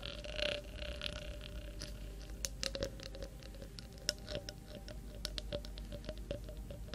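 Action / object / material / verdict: tap / small glass jar partly filled with water, metal screw lid / glass / none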